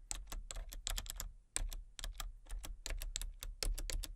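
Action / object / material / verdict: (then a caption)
tap / plastic computer keyboard / plastic / none. Fingertips type rapidly on a full-size plastic computer keyboard with a colour-changing backlight. The result is a quick run of bright, crisp key clicks over a steady low hum, pausing briefly now and then before the tapping resumes.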